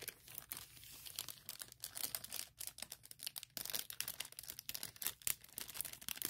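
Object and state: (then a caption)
Plastic packaging bag. Long nails scratch and crinkle a thin, clear plastic product bag with printing on it. The result is a quiet, steady stream of sharp, bright, crackling bursts, mostly high-pitched, with a dry sound and almost no low end.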